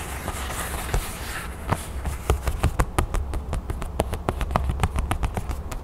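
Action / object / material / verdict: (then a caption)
tap / thin craft foam sheet cut into a crown / craft foam / none. A thin, flat red craft foam sheet cut into a crown shape is held in both hands while long nails tap and scratch its surface. Soft scratching in the first second and a half gives way to quick, sharp taps that grow denser toward the end, over a steady low hum.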